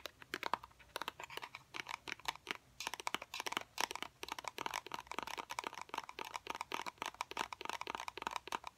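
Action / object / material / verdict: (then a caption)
tap / small cardboard box / cardboard / none. A small, hollow, white cardboard fidget cube box, held in both hands, is tapped with fingernails in a quick, irregular run of 44 dry, crisp clicks. Each tap is short with almost no ring, and carries a bright papery crackle with a slight hollow tone near 950 Hz and very little low end.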